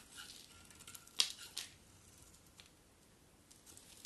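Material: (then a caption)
Soap. A solid cream bar of soap held in the hand is quickly scraped with a metal utility knife blade, sending shavings flying. Two short, bright scraping strokes stand out over a faint, crisp rasp and scattered light crackles. The sound is almost entirely high-pitched, with hardly any low end.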